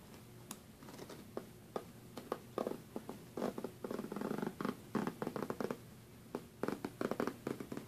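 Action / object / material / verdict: scrape / metal zipper on a fabric suitcase / metal, fabric / none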